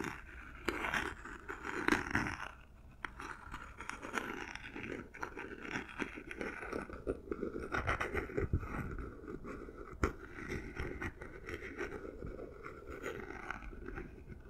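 Long manicured nails tap and scratch the faces and edges of a small hollow cardboard gift box, covered in textured silver paper with a dark diagonal stripe, held in both hands. The result is a steady stream of soft, dry, papery scratches and hollow taps with a low-mid body. A few sharper, louder taps stand out near 2 and 10 seconds.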